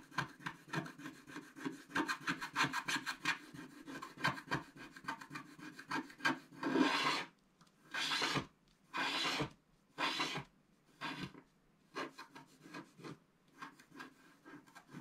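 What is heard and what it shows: A wooden stylus scratches the black coating along the right edge of a flat scratch-art paper card held at its bottom edge. Quick, dry, raspy scratches come in a fast run, then give way to a few longer, bright sweeping strokes. Short scratches return at the end.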